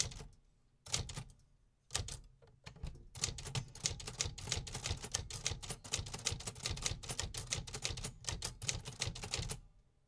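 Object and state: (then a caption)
Metal manual typewriter keys. Fingertips type on the metal keys of a vintage 1950s manual typewriter, making sharp, bright mechanical clacks with a low thump under each strike. A few scattered keystrokes open the clip, then a steady run of rapid typing continues until it stops just before the end.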